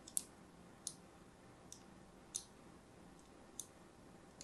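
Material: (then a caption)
Soap. A thin blade repeatedly scores lines into the surface of a solid, palm-sized pink-and-white striped soap bar held in the hand. Seven short, dry, bright scratching clicks sound over a faint steady hiss. Each stroke is quiet and crisp, with almost no ring after it.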